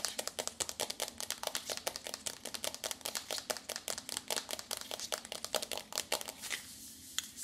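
Long nails tap rapidly on the front cover of a small, flat, rectangular pink and purple foil-printed cardboard eyeshadow palette, the Bad Habit Supernova, held up in both hands. The result is a quick, irregular run of dry, bright clicks with almost no ring or low end, easing into a softer rustle near the end.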